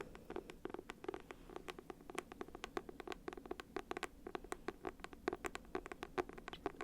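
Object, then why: Paperback book cover. Rapid, light tapping on the simple, clean cover of a copy of the book Human Acts by Han Kang. The steady stream of short, dry taps has no ring and a mid-range pitch around 370 Hz.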